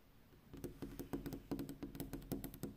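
Long pink-painted fingernails on a hand in a black fingerless glove tap and drum on a large, flat, rigid sheet-glass window pane overlooking a night street. After a quiet half-second, a rapid, uneven run of crisp clicky taps follows, each with a bright tick and a short, low glassy ring around 280 Hz that dies away quickly.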